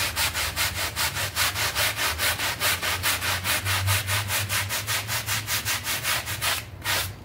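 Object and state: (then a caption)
Synthetic pile rug being scrubbed. A red hand brush scrubs a small wet, soapy synthetic pile carpet mat lying on a tiled floor, in quick back-and-forth strokes. Each stroke gives a bright, bristly scratching hiss over a low rumble, in a steady rhythm of about two strokes per second. The strokes ease slightly near the end.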